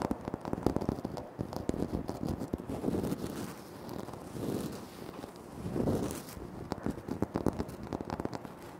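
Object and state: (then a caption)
Granite floor tile. Fingertips tap and short nails scratch across a flat, solid, speckled granite floor tile. Quick, dry, crisp taps alternate with softer, swelling scratching passages, mostly in the low and middle range with little ring after each touch.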